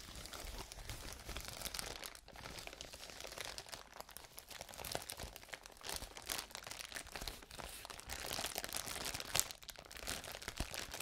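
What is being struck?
Plastic bubble wrap sheet.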